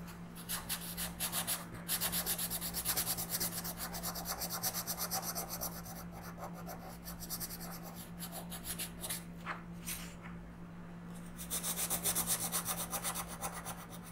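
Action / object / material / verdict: scrape / wooden colored pencil on a paper coloring book page / paper / none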